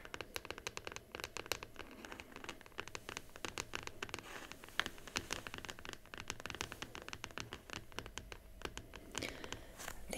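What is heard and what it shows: Long nails scratch and tap rapidly across the closed teal aluminium lid of a Huawei MateBook X Pro laptop lying flat. Sharp, bright clicks ring out over a steady scratchy rasp, each one dying away at once.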